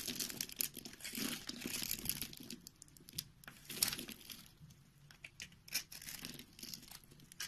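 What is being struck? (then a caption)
Bar of soap cut with a knife blade. A solid white rectangular bar of soap, held in the palm, is shaved and cut into small cubes with a utility knife blade. Quiet, crisp scraping and crinkly cutting sounds come in dense bursts, bright and airy with little low end. The short, dry strokes fade quickly between passes.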